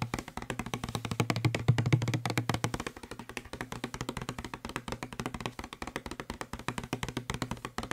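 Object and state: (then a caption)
Plastic spray bottle. Fingertips and nails tap fast on the side of a hollow blue plastic Febreze spray bottle, producing a dense, uneven stream of dozens of short, dry clicks. A low hollow tone around 120 Hz rings under the taps and is strongest in the first three seconds, then the tapping continues more quietly.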